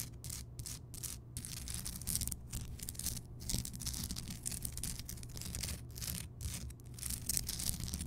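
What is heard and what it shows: Long painted nails on both hands scratch and tap a large, solid, rough-hewn block of pink Himalayan rock salt that is lit from inside as a lamp. The scratching comes in bright, gritty bursts separated by brief pauses, over a steady low rumble.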